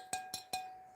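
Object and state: Bisque-fired pottery, porous and fragile.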